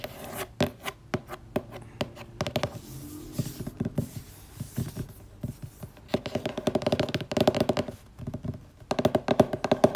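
Long grey painted nails and fingertips tap quickly on the glossy laminated cardboard cover of a colorful purple hardcover book with a picture grid on the front, lying flat. The sound is crisp, clicky tapping with a hollow mid-pitched ring, starting with spaced taps and building into dense, rapid flurries that grow louder toward the end.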